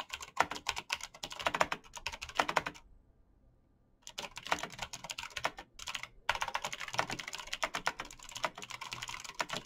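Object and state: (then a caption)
Plastic mechanical keyboard. Fast fingertip typing on a black plastic mechanical keyboard with backlit keys produces dense, bright clicking key taps in quick bursts. The typing stops for about a second near the 3-second mark and briefly again before 6 seconds, then resumes as steady, rapid tapping to the end.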